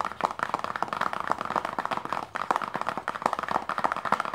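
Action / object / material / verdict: tap / small closed paperboard box / paperboard / none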